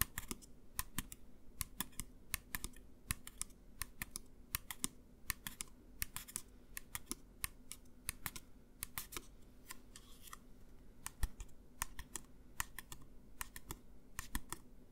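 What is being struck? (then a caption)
Plastic pump bottle of gel. A partly full clear plastic pump bottle of hand gel is held in the hands and tapped by fingertips and nails close to the microphone. Many quick, dry, bright clicks in uneven bursts sound almost like typing on a keyboard, each dying away at once over a faint low hum.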